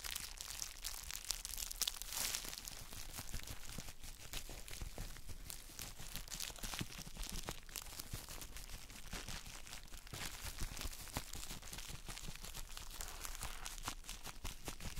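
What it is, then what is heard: Bubble-wrapped chalk block being squeezed. A palm-sized gym chalk block wrapped in plastic bubble wrap is held in gloved hands while fingertips press and squeeze the wrap. Dense, continuous crinkling and crunching with bright, crackly texture runs throughout, made of many short, dry snaps with no ring.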